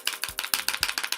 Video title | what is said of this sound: Rimmel London Volume Shake Mascara Review | you shake it to keep it fresh can you hear that like really loud